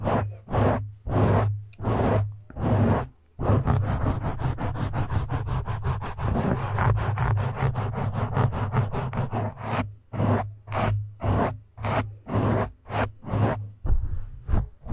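Both hands scratch and grip the sides of a black foam microphone windscreen with fingertips and short nails. Rhythmic bursts of close, muffled, low-heavy scratching give way to a steady stretch of dense rubbing in the middle, then return to short pulsed strokes.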